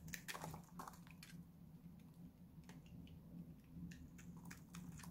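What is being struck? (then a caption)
Bar soap cut with a blade. A small, solid, dried-out pink Lux bar soap is held in the hand and shaved and cut with a utility knife blade, dropping flakes onto a pile below. Crisp, bright scraping crunches and light clicks come in quick bursts over a steady low hum.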